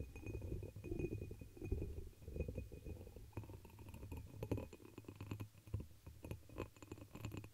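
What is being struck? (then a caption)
Pressed glass chalice, upside down. A hollow dark red embossed pressed-glass chalice, turned upside down over the microphone, is tapped and scratched with long pink acrylic nails. Quiet, muffled taps and scraping mix with a deep, boomy low resonance and a faint steady glassy ring. The hits come in loose, uneven clusters.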